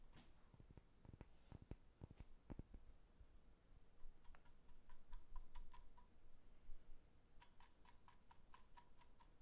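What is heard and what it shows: Fingernails tap a small brown amber glass jar with a lid and dark contents, held in the hand. The taps come as quick, rhythmic clicks, some with a faint glassy ring, over a low background hum.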